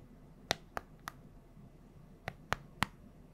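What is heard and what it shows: Long nails tap the colored rubber buttons and casing of a small, flat, hollow handheld plastic LED remote close to the mic. Six sharp, bright clicks come in two groups of three, each dying away almost instantly. A faint, steady hiss sits underneath.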